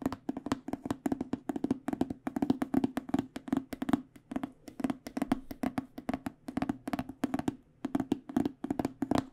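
Fingernails tap quickly and continuously on an AKG hard microphone case with an aluminum frame and black panels. The clicks are short and dry, with a hollow mid-low tone around 266 Hz and almost no ring after each hit. They come in uneven bursts throughout.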